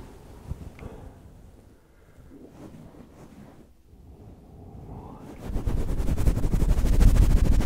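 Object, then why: Faux-fur microphone windscreen. Fingertips and nails of both hands scratch and rub fast over a grey fluffy faux-fur windscreen covering a solid microphone body. Soft, muffled rustling stays quiet for about five seconds, then the scratching turns loud, dense and booming with heavy low-end thumps for the rest of the clip.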